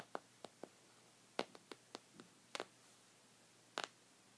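Short red fingernails scratch a thick, cream-colored, textured woven knit rug of soft fabric. About ten brief, dry scratches come at irregular intervals over a quiet background, each a bright, papery burst with almost no ring.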